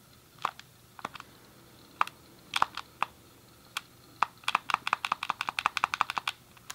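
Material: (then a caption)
Plastic. Fingertips press and click the colored face buttons and D-pad of a grey, hollow plastic SNES game controller held in both hands. Short, dry plastic clicks centered near 1 kHz with bright high tops and almost no low end die away instantly. They start sparse and irregular, then speed up into a rapid flurry toward the end.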